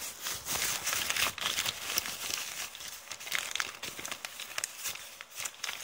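Both hands with long painted nails press, crumple and pull a flattened, crumpled brown kraft paper bag. Dense, bright crinkling and crackling come in irregular bursts with almost no low end. Each sharp rustle stops almost instantly, with no ring.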